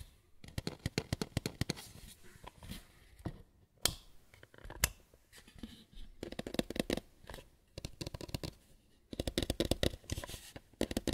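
A white lampshade is tapped and scratched with no talking. Bursts of quick, dry fingertip-like taps and scratchy rustling come in clusters separated by brief pauses, with a couple of sharper, brighter isolated taps in the middle. The sound is quiet and close, with no ringing after each tap.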